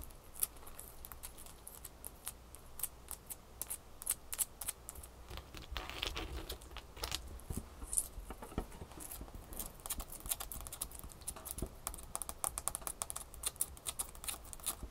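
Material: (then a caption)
Ice. Long fingernails tap rapidly on a small solid ice cube held between the fingers above a towel of ice cubes. The quiet, dense, bright clicks come in quick irregular bursts over a low, steady rumble, each tap cutting off almost instantly.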